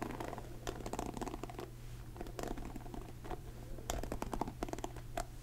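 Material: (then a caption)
Plastic. Fingertips scratch and flick across the black plastic pin bristles of a blue plastic paddle hairbrush, making quiet, dense bursts of crackly scratching and sharp, short plastic clicks. The flicks come in rapid irregular clusters with brief pauses between them, over a steady low hum.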